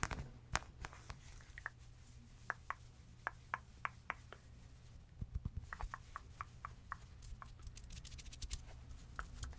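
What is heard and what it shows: Long red-painted nails scratch and tap a small, spotted, fabric stuffed plush giraffe toy. Quick, dry scratches and clicky taps land in a loose, irregular rhythm over a steady low hum, growing denser and brighter toward the end.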